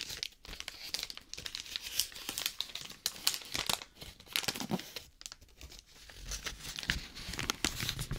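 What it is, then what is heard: Brown paper bag being crumpled. A small, hollow, empty brown kraft paper bag with a printed logo is held in both hands and crumpled and crinkled with the fingers close to a binaural microphone. Dense, bright crackles and crisp rustling bursts come one after another, with little low end.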